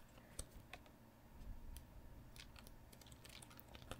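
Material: Paper.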